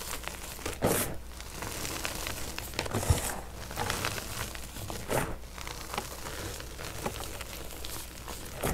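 Bare hands scoop, squeeze and crumble handfuls of a large pile of lavender-dyed crushed gym chalk (magnesium carbonate), a loose, crumbly powder with small chunks, rubbing it between the fingers and palms. The sound is soft, dry crunching and crinkling with gritty rustles and brief bright crackles, over a steady low hum.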